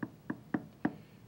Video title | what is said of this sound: Occlusal Adjustment of Mounted Cast | there is a solid contact this is much more solid